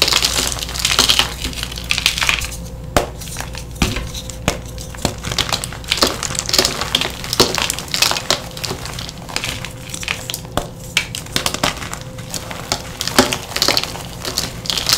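Handful-sized chunks of a reformed lavender gym chalk block (magnesium carbonate), solid and brittle, are squeezed and crushed in bare palms and fingers, releasing fine powder. The sound is a dense, bright crunching and crackling with frequent sharp snaps over a faint steady low hum.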